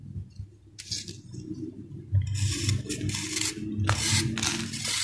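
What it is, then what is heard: Sand-cement ball being shaved. A round, solid sand-cement ball held in the palm is shaved with a steel knife blade. Bursts of bright, gritty scraping rasp in uneven strokes over a steady low rumble, growing louder and denser in the second half.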